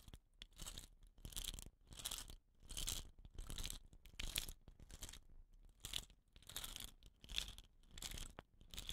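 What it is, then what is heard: Bamboo rain stick being scratched. Fingers and short nails scratch and rub the woven rattan end cap of a hollow, painted bamboo rain stick while the stick is tilted. A steady series of bright, scratchy, crinkling rasps comes in short bursts separated by brief quiet gaps, with a soft low rumble underneath.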